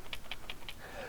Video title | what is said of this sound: 6thsense premium Box | a 5/8 ounce again a much deeper rattle